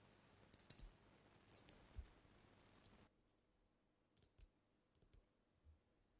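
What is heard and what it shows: Long acrylic nails tap the body and neck of a large dark glass cognac bottle with a paper label and a black capsule on its neck. The result is a quiet, irregular series of sharp, bright clicks with very short ring. A faint background hiss drops away about halfway through.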